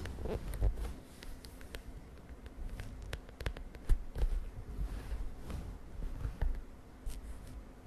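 Long nails tap and scratch the lilac plastic cover of a spiral notebook resting on a bed. The sound is a quiet run of sharp, dry clicks scattered over soft scratching and low rumble, with each tap dying away almost instantly.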